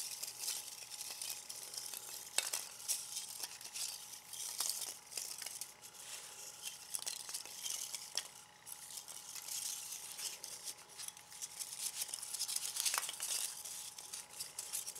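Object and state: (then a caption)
Polystyrene foam packing peanuts. A handful of light white expanded polystyrene packing peanuts is held in cupped palms, rubbed and shaken together, then dropped onto a bamboo board. A dense, bright, squeaky crackle and rustle of foam rubbing on foam runs throughout, with quick dry clicks and a few sharper snaps standing out. There is almost no low end.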